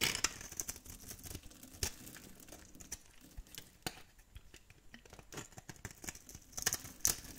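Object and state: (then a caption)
Dry soap bar scraped. A metal blade scrapes white shavings from a solid, white, scored, dry soap bar held in the hand. The result is a quiet run of bright, crisp crackling and scraping strokes, with a few sharper snaps standing out among them.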